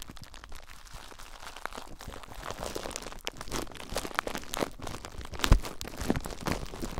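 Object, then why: Plastic bubble wrap. Clear plastic bubble wrap bundled around a recorder is squeezed by fingertips with short nails, giving a steady stream of crinkling and crackling with scattered sharp pops as the bubbles burst. The pops grow denser and louder toward the end, with the strongest snap about two-thirds of the way through.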